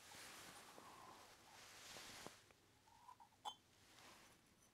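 A small, hollow, unglazed orange terracotta pot with a lid, handles and holes is held in one hand while fingertips tap and jiggle the clay lid against the rim. Soft, dry clay clinks and rattles sit over a steady airy hiss. Two brighter, sharper clinks stand out near the end, ringing briefly around 3.1 kHz.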